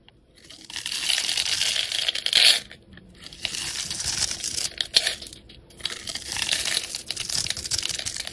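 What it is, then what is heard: Bar of soap being shaved. A metal utility knife blade scrapes and shaves thin curls and small cubes off the surface of a solid, rectangular, hand-sized green bar soap held in the hand. Three long passes of bright, crisp scraping are heard, each with a sharper crackle near its end. Short quiet gaps separate the passes.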